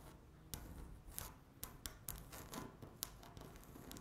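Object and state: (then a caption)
Laminate tabletop scratched with fingernails. Long natural nails on both hands scratch a flat, solid speckled laminate tabletop. The quiet, steady scratchy rubbing is broken by sharp, bright clicks as the nail tips catch and tap the surface, each ending almost instantly.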